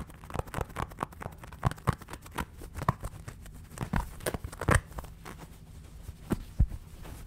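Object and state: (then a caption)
Plush fabric toy. A small, soft, stuffed yellow Pikachu fabric plush is held in both hands close to the mic and scratched and tapped with fingertips and nails. The result is an irregular stream of soft, muffled taps and dull thumps, mostly low in tone, with fine, brief scratching textures between them that die away almost instantly.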